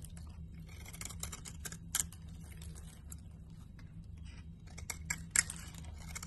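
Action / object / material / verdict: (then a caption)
scrape / solid soap bar / soap / none. A box cutter blade slices thin curls off a solid cream and green soap bar held in the hand, making soft, crisp scraping cuts with a few sharper, bright snaps. A steady low hum sits underneath throughout.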